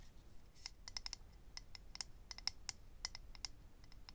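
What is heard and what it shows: A small, hollow, rectangular clear plastic/acrylic eyelash case holding rows of lash strips is held in the hand and tapped and scratched with medium-length natural nails. The result is a quiet, irregular series of sharp, bright, high clicks that stop instantly, over a faint low background hiss.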